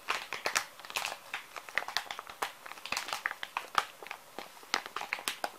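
A full, small plastic-film wet wipes pouch is held in the hand and squeezed and crinkled with the fingers. It makes a steady run of quick, dry crackles and crinkles, bright and high with almost no low end. Each snap dies away almost at once.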